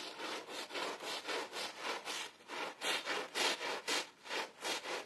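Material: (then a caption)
Carpet pile. A gloved hand scrubs a wet, soapy blue and red pile rug with a green plastic bristle brush. Steady back-and-forth strokes make a rhythmic, bright, hissing scrub with no low rumble. Each stroke swells and fades in an even rubbing pattern.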